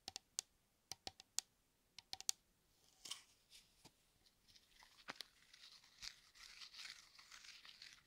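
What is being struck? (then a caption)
Metal aerosol shaving cream can. Fingers and nails tap and scratch the surface of a hand-sized blue metal aerosol shaving cream can, hollow and pressurized, held close to the microphone. Quiet, sharp, bright ticks come first in an uneven series with almost no ring. They give way to softer, hissy scratching and rubbing that fills the high end until the clip ends.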